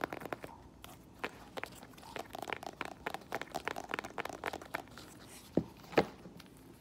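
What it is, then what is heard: Faux leather strappy sandal. A rose-gold faux leather strappy flat sandal is held up and then placed on the floor while long nails tap and scratch its straps, buckle and sole. Quick, soft crinkly taps and scrapes run throughout, and two sharper, louder knocks land near the end.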